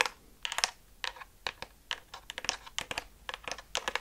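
A blue and pink hollow plastic water-gun-style toy gun, held in the hands in front of a fluffy microphone, is tapped and scratched on its surface with long dark nails. A quick, irregular series of short, dry, bright clicks and brief scratchy rasps is heard, with almost no low end and no ringing after each tap.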